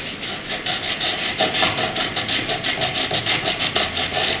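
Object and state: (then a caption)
Graphite pencil shading on paper. A soft graphite pencil shades a dark patch on white paper with back-and-forth rubbing strokes. About fifteen bright, hissy scratches follow each other at roughly three per second, with little low end.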